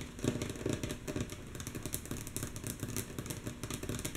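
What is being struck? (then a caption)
Wooden tabletop. Long natural fingernail tips of both hands tap rhythmically on a solid, flat, light wooden tabletop. The steady stream of mostly soft, quick taps has a dull, low woody knock with short decay and a faint bright click on top.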